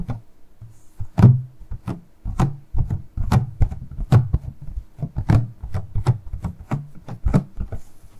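Long nails tap the flat faces of a small, hollow, transparent purple plastic packaging box as it is tilted and turned in the hands. The result is a quick, irregular run of about 25 short, hollow knocks: low thunky bodies around 130 Hz, each topped with a brief bright click. Every knock dies away almost at once.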